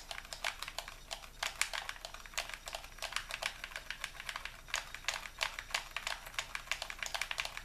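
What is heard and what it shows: A white, hollow plastic Xbox controller is held in both hands while thumbs and fingers repeatedly click its buttons and sticks. A rapid, uneven series of short, sharp, bright plastic clicks and taps follows, each dying away almost instantly, with very little low end beneath them.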